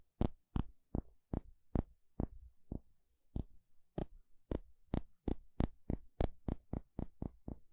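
A thin plastic pick taps and pokes a thin, flat, solid wooden spatula held edge-on. About 21 short, dry taps sound at an uneven pace, speeding up toward the end, each with a dull low thump and a bright click that stops almost instantly.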